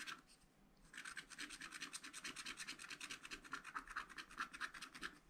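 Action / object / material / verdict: scrape / wax-coated scratch-art paper and wooden stylus / waxed paper / none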